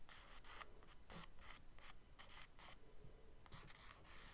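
A charcoal stick held upright scratches short strokes across a page of a spiral-bound kraft paper sketchbook lying flat. The result is a quiet series of dry, raspy scratching bursts with a bright, hissy top and little low-end body.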